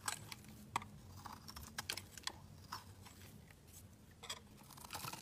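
A utility knife blade scrapes thick curls off the edge of a solid mint-green bar of soap held in the hand. The result is a series of short, crisp scraping and crunching strokes, bright at the top, over a low, steady hum.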